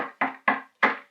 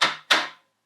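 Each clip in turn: First: Firm knuckle knocks on a hard plastic bear canister, dull and solid like rapping on a door. Second: Two bright, clacky knocks with no low body, the thin sound of a weaker, brittle plastic canister.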